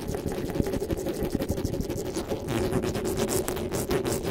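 Fingers rub and scratch the top of the metal mesh grille on a black desktop microphone. The result is a steady, dense scratching texture with a low, boomy rumble and a strong midrange hum. Rapid, brushing strokes flare brighter toward the end.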